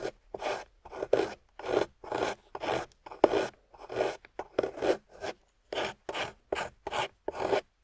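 A small metal loop tool scrapes and carves a solid, water-soaked grey clay block in nineteen short, separate strokes. Each stroke is a rough, rasping scrape with a mid-range body and a bright, hissy edge, followed by a brief silence before the next pass.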